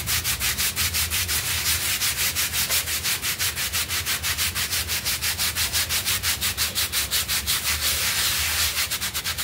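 A stiff-bristled hand brush scrubs a small, flat, soft rectangular blue synthetic pile rug that lies wet and foamy on a tiled floor while one hand holds it flat. Rapid, steady back-and-forth strokes, about three per second, make a bright, hissy, scratchy rubbing sound with a faint low rumble underneath.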